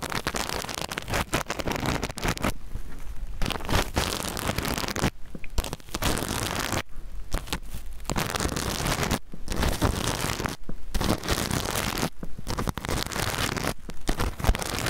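Fingertips and nails scratch and brush across the plastic sequins of a small, soft, hollow rainbow reversible-sequin zip pouch held close to the mic. The result is a dense, continuous crackling, rustling scrape with a heavy low rumble, broken by several brief quieter pauses.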